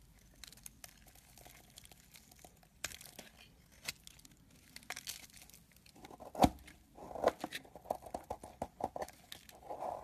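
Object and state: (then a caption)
Dry soap bar scraped with a blade. A metal blade scrapes a solid white soap bar, breaking off dry, crumbly chunks. Soft, irregular scratching and crinkling crunches get louder and denser in the second half, with a sharp crunch near the middle.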